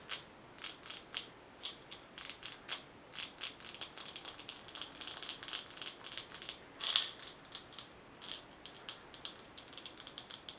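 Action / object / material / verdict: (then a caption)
tap / glass jar with metal screw lid / glass, metal / none. A glass mason jar with a gold metal lid, filled with small colorful items and held in both hands, is tapped and scratched with long nails. The result is a quick, irregular run of dozens of crisp, bright clicks and scratchy bursts, with almost no low end and very little ring after each touch.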